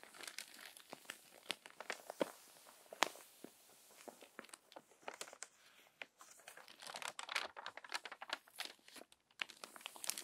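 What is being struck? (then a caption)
Paper magazine pages. A crumpled paper magazine lies open as a page is flipped, then long-nailed hands smooth the crinkled paper. Dense, bright crinkling and crackling come in quick, sharp bursts with no ring, rising and falling in loudness throughout.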